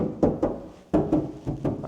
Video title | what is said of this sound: Install Fender Flares & Modified Slide Door | This is like a drum